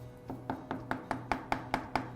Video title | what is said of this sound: How to Fix Cracks in Old Walls - House Painting | that is hollow so we've got some really rough spots here